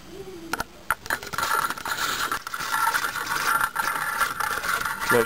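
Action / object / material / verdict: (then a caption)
drop / metal slinky spring / steel / none. A metal slinky spring is dropped, its coils clattering together in a fast, ratcheting metallic zing with a steady ringing tone around 1.4 kHz and bright shimmer above. Separate sharp clicks open the clip, then the sound becomes a dense, continuous rattle that ends with a final louder burst.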